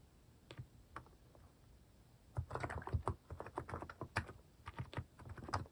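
Fingertips type on a white-case Hanmumu mechanical keyboard fitted with pastel plastic cat-shaped keycaps. A few isolated keystrokes give way to a steady run of quick typing. Each press is a short, dull, low-toned clack that stops almost at once.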